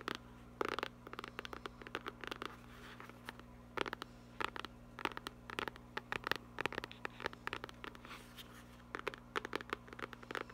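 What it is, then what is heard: Faux leather notebook cover. Fingertips and long nails scratch and tap the cover of a small black textured faux-leather hardcover notebook. Irregular bursts of short, dry scratches and light taps, with very little ring, sit over a steady low hum. The sound stays quiet throughout.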